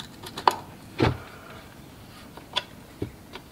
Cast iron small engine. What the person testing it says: there's chunks of metal coming out